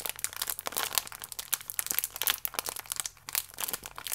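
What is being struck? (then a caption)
Plastic food wrapper with a biscuit inside. A plastic biscuit wrapper with one cereal biscuit inside is crinkled with fingertips and nails, then laid flat and pressed. It makes dense, bright crinkling with rapid sharp crackles that stop almost instantly, over a faint low hum.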